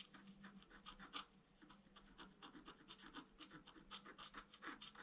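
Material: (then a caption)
Coated paper. A thin wooden stylus, held in the fingertips, scratches a flat A4-size scratch-art sheet with black coating over colored foil paper, lying on a white table and held down by the other hand. The clip is a rapid series of short, dry, bright scraping strokes, each stopping quickly, over a faint steady low hum.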